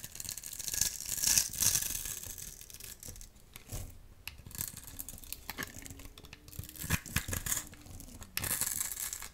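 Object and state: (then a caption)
Dry soap bar scraped with a blade. A metal utility knife blade scores and scrapes a dry, solid rectangular blue soap bar held in the hand, shaving it into small flakes. The result is a steady run of crisp, dry scratching and rasping strokes, mostly high and bright with little low end, coming at an irregular, fairly quick pace with short louder bursts.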